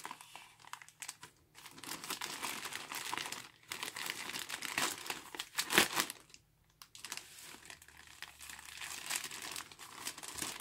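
Gloved fingers grip and pull the opened edge of a large, filled, grey star-printed polyethylene courier mailer bag. Bright, dense crinkling plastic comes in uneven bursts separated by short quiet gaps, with a sharp crackle peaking near the middle. There is almost no low-end weight.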